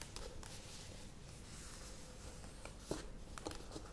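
A plastic yogurt tub is turned and then lifted in one hand while long nails tap and scratch its curved side. Soft, hollow plastic taps and scratchy scraping sit over a quiet, low background rumble, with a couple of sharper taps standing out near the end.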